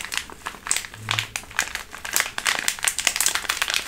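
A small, full, olive green sealed foil/plastic food pouch is held in both hands and crinkled with long nails. The result is a dense run of quick, bright crinkling and crackling bursts with a brief low hum near the one-second mark.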